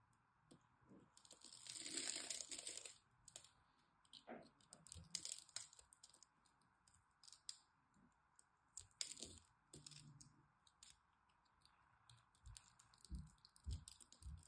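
A small blade repeatedly scrapes and cuts scored cubes off a solid green dry soap bar held in the hand, making crisp, crumbling crackles. A longer, louder bright scrape near the start gives way to short, irregular cuts and crumbles over a faint steady hum.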